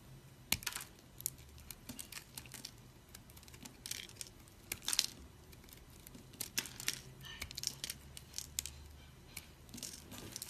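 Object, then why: Green soap chunk cut with a blade. A solid, dry green soap chunk held between the fingers is cut and scraped with a utility knife blade, crunching off small pieces. Many short, bright, crisp crunches and scratchy scrapes come in irregular bursts over a faint low hum, each snapping off quickly with almost no ring.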